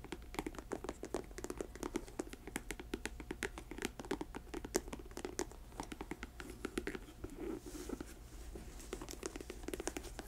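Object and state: Patent leather boot.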